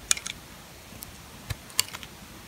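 A metal utility-knife blade shaves and scrapes curled strips off the edge of an old, solid green sulfur soap bar held in the fingers. About six short, dry, crisp clicks and scrapes sound, bright and nearly free of low end. Each dies away almost instantly against a faint background hiss.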